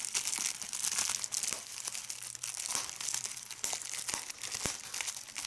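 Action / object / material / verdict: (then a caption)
scrape / plastic bubble wrap / plastic / none. Fingers with red nails crumple and squeeze a large sheet of clear plastic bubble wrap, popping bubbles. Continuous bright, crackly crinkling is broken by sharp, quick-decaying pops, with almost no low end.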